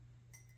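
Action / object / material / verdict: tap / glass object / glass / none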